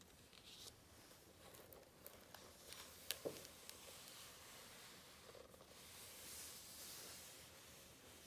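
Both palms and fingertips rub and pat the glossy paper spread of a large open hardcover book. The result is a quiet, bright, papery swishing and crinkling with a few short, sharp taps standing out, and a soft, breathy rubbing swell near the end.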